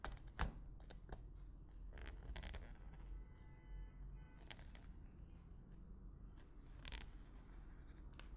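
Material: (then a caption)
Plastic film. A thin white stick repeatedly pokes and pushes into clear plastic cling film wrapped tightly over a medium, empty clear glass bowl. Sharp, bright crackling taps and snaps stand out over a quiet, steady low rumble, the first tap being the loudest.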